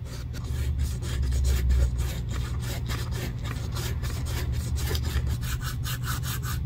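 The top edge of a black pebbled-leather Dior handbag, a thin edge on a hollow bag, is sanded back and forth with a small strip of sandpaper held in black-gloved fingertips while the edge is being refinished. Quick, fairly steady rasping strokes give bright, scratchy bursts over a constant low rumble.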